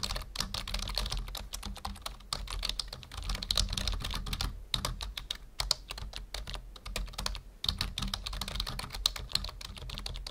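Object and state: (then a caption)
Plastic computer keyboard being typed on. Fingertips of both hands type steadily on a full-size black plastic membrane computer keyboard resting on a wooden desk. The rapid, bright clicky taps carry a soft low thump beneath them, with brief pauses near 4.7 and 7.6 seconds before the typing resumes.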